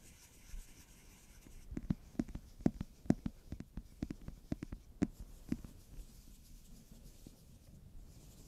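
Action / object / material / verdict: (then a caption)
scrape / glitter-foil cardboard palette cover / cardboard / none. Fingertips and nails rub and scratch the textured back cover of a book-style eyeshadow palette made of holographic glitter-foil cardboard, held close in one hand. Quiet, dry scratches and soft taps come in an irregular burst, with sharp clicks and no ring, before fading back to a faint rub.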